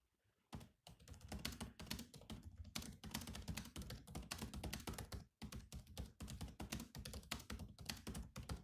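Fingertips of both hands type quickly on the black plastic keys of a grey laptop keyboard. After a quiet start, a steady stream of short, clicky taps with a low, hollow thunk beneath them fills the clip. The typing pauses briefly just past the midpoint.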